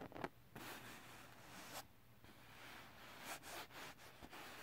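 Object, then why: Glitter-coated paper sheet. Fingertips and nails scratch a flat, solid sheet of silver holographic glitter paper or card lying on fabric, and a flat palm rubs across its textured glitter surface. Soft, quiet, broadband scratching and rubbing comes in sweeping bursts with bright, hissy edges, over a faint steady low hum.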